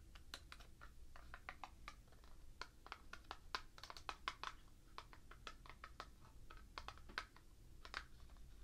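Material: Cardboard.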